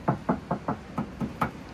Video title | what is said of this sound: Another Project Car | parang tansan talaga yung pag kinakatok mo